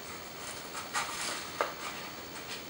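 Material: Nothing is struck.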